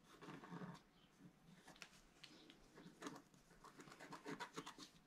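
A wooden stylus scrapes the black coating off a flat, roughly A4-sized scratch-art card lying on a table and held down by one hand. The short strokes make soft, dry, papery scratches with brief bright rasps and a low, muffled body. The quiet close-up scraping comes in uneven bursts, leaving the coating scratched away.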